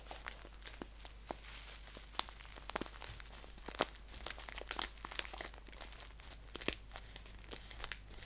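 Fingertips and nails crinkle, scratch and tap a handheld, hollow green paper tea bag pouch with a white label, filled with tea. Dense, crisp crackling rustles are punctuated by sharp, bright clicks and taps that die away almost instantly. A low, steady hum sits underneath throughout.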